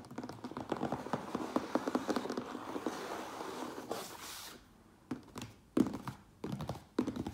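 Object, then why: Closed cardboard box. A closed cardboard Priority Mail box stands on end while the fingertips and nails of both hands tap quickly on its top. For about four seconds a dense flurry of dull, hollow taps with a low-mid body runs together, ending in a brief breathy rustle. After a short quiet gap, sparser, slightly louder knocks follow.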